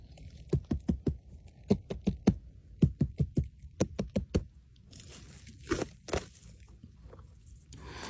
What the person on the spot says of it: Here I am tapping because I enjoy the noise and to demonstrate the particular resonance of this massive mushroom.